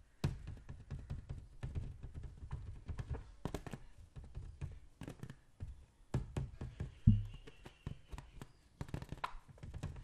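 A hand-sized green latex balloon filled with liquid is tapped and scratched with fingertips and nails, while a second balloon rests idle in another lap. A rapid run of short, dull, low thunks and soft taps stops quickly with almost no ring, and faint bright scratching sits between the hits. One firmer tap near the end stands out above the rest.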